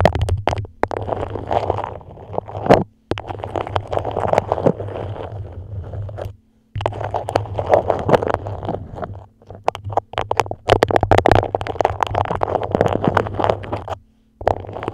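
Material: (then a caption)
Waxed cotton. A grey dotted beeswax-coated cotton food wrap held over a microphone is scratched and squeezed by long nails, giving dense crinkling, crackling and scraping on the stiff waxed cloth. Bursts of sharp ticks and rustles come in long stretches separated by short silences, with a low steady hum underneath.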